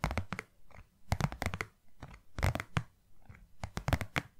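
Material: Cardboard.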